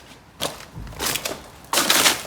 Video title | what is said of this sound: Mise en route de la pompe pour la source sous l'immeuble (Démolition + Electricité) - EP4 | il y a un endroit de où il y a les toilettes où ça sonne hyper dur